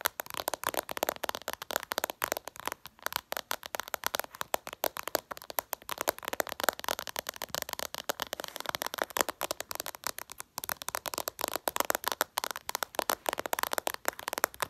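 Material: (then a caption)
Glass. Long purple nails rapidly tap the flat glass screen of a smartphone in a close-up. The result is a dense, fast stream of short, dry clicks with almost no low end, centered in the midrange with a bright edge, and each tap dies away almost instantly.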